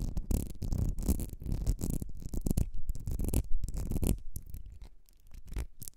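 Long red nails scratch along the ribs of a small, partly filled ribbed glass perfume bottle with a gold cap. The result is a dense, irregular run of rasping scratches with a heavy low rumble underneath, steady at first and then thinning into softer, scattered strokes toward the end.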